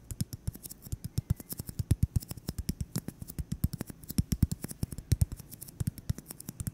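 A solid white styrofoam ball about 8 cm across is held in the hands and tapped and scratched with fingertips and short nails. An irregular, rapid run of dozens of short, dull low thuds is heard, each with a crisp, bright click on top and no ring.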